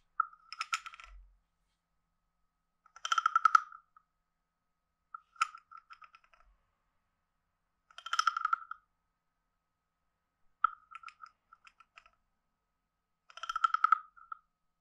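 A hand-sized, hollow, carved wooden frog guiro is played by scraping a wooden stick along its ridged back in six separate passes. Each pass makes a dry, rapid ratcheting croak centered around 1.3 kHz with bright clicking edges, separated by brief silences.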